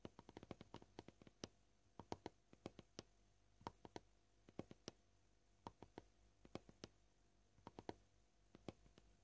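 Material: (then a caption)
Plastic. Short fingernails tap a flat, solid, scratched white plastic cutting board one finger at a time. About three dozen quiet, dry clicks come at an uneven pace, sometimes in quick runs and sometimes with pauses. Each tap stops almost instantly with no ring.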